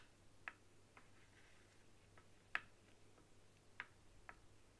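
Long acrylic nails tap on the top and buttons of a white, hollow plastic PS4-style controller resting on a wooden table. Five quiet, sharp, clicky taps come at irregular intervals, each with a bright mid-high tick that dies away almost instantly. A faint low hum runs underneath.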